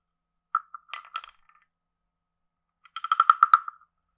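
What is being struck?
Carved hollow wooden frog guiro played with a wooden stick.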